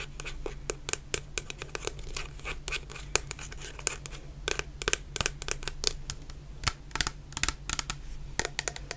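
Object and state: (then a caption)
Plastic shower gel bottle. Long painted nails tap rapidly on a medium clear plastic bottle full of orange shower gel, giving about 35 short, sharp, bright clicks with almost no ring. The taps come in quick irregular bursts over a quiet, steady low hum.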